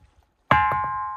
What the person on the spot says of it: sounds like metal. Yeah, yeah. But it's in a stone.